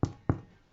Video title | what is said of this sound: Pain à la cocotte sans pétrissage | si ça sonne creux ça veut dire que le pain est cuit